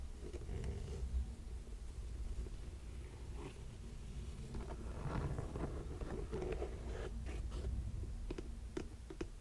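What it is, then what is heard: Suede lace-up boot. Fingernails tap the sole of a burgundy suede lace-up boot, then scratch across the suede upper near the laces. Soft, dry clicks and brushing scratches sit over a steady low hum, with the quick taps ending sharply and hardly ringing.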